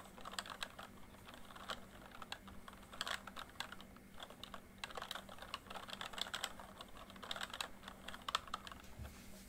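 Fingertips type quickly on a full-size plastic MSI backlit membrane keyboard, producing a fast, uneven stream of soft, dry key clicks and clatter in bursts. The clicks center around 1.3 kHz with bright upper edges, stop almost instantly, and sit over a faint steady low hum.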